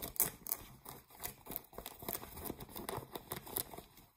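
Fingernails scratch the waistband and fly area of blue ripped denim jeans near the metal button. Quick, repeated rasping strokes make bright, scratchy bursts with short dry gaps between them. Each stroke is brief and papery, with almost no ring after it.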